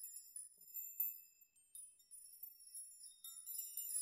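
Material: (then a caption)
Metal. Open hands and fingers push and rock a wall of many long, thin hanging metal nails, knocking them together. The result is a quiet, bright, high-pitched jingling and tinkling with short rings and no low end, rising in clusters of overlapping metallic clinks.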